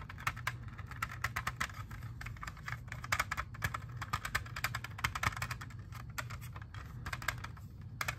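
Long fingernails tap rapidly and continuously on a hand-sized, hollow clear plastic CD jewel case holding a disc. The result is a steady stream of short, sharp plastic clicks with a bright edge and almost no ring, over a constant low hum.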